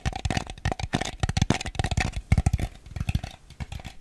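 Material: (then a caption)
Plastic. A small, hollow, empty white plastic bowl with a ribbed surface is tapped and scratched with fingernails on its bottom and sides. The result is a quick, uneven run of short, dull, low-pitched taps that die away almost at once, mixed with faint bright scratching.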